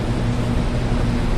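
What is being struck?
Nothing is struck.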